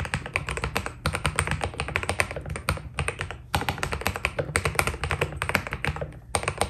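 Fingertips type steadily on a white Keydous NJ80 mechanical keyboard with PBT plastic keycaps. The result is a rapid stream of short, crisp clacks with a low body and bright tops that stop almost instantly. The typing briefly thins out at a few points before continuing.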